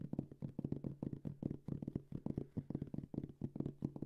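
A round, dark gray, medium-sized hollow hard-shell headphone case covered in fabric is held in both hands and tapped and scratched with fingertips and nails. The result is a quick, uneven run of soft, dull, low thuds with a faint hollow tone, each dying away at once, with light scratchy texture in between.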